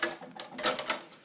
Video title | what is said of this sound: Safely operate an air cannon | if you hear something other than the flag post